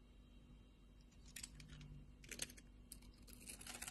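A utility knife blade shaves and scrapes a pink-and-white striped solid bar of soap held in a hand with long red nails, piling soap flakes on the bar. Soft, bright scraping and crisp crunching cuts come in short bursts over a low hum, growing denser toward the end.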